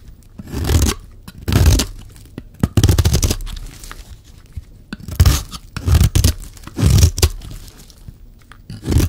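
A solid, oval, dry red bar of soap held in the hand is shaved and scraped with a metal utility-knife blade. The result is a series of raspy, crunchy scraping strokes with a dull low body and bright shaving texture, separated by short pauses.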